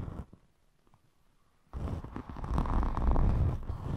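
Long metallic nails scratch and rub a thin rainbow glitter foam craft sheet. A brief scratch fades into near silence, then dense, continuous scratching and rubbing starts abruptly and grows louder, heavy in low rumbling tones.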